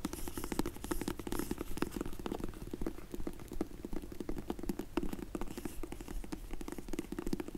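Long nails tap and scratch on a closed, dark grey faux leather hard sunglasses case from Zinff, held in the hands. Quick, irregular, soft dull taps mix with scratchy rubbing, each tap dying away almost at once, with a low, muffled body tone.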